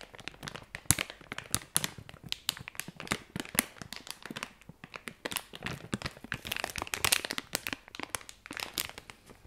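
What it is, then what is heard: Plastic film packaging bag. A sealed, hand-sized, light purple printed plastic-film pouch holding a squishy toy is held in both hands and crinkled and rubbed with the fingertips and long red-painted nails. It makes a dense, continuous run of bright, crisp crinkles and sharp crackles with almost no low end. Each snap stops instantly, at a fairly quiet level throughout.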